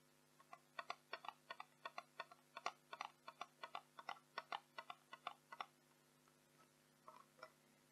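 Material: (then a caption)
Cardboard. Long painted fingernails rapidly tap along the printed side of a tall cylindrical Pringles Texas BBQ canister, a hollow tube of foil-lined cardboard with a plastic lid, held up close in one hand and likely partly full of chips. The taps are quick, uneven, dry clicks with a hollow mid-range tone around 1 kHz and almost no ring, over a faint low steady hum. After a brief pause, a few softer taps close the clip.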